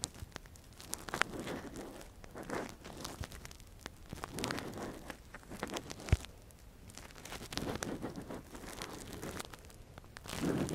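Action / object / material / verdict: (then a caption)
scrape / silicone ear model with metal earpick / silicone / none. A gloved hand probes and scratches inside the hollow canal of a soft, translucent, hand-sized silicone ear model covering a binaural microphone, using a thin metal earpick. Close, quiet crackling, rustling and scraping come in slow swelling waves, with a few sharper clicks.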